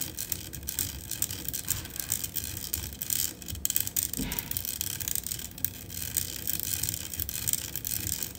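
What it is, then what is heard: Metal microphone mesh grille. Long acrylic nails scratch and tap the hollow black metal mesh grille on top of a USB studio microphone. A dense, bright, crackling scratch runs throughout, broken by quick, dry little taps that stop almost instantly, over a soft low rumble.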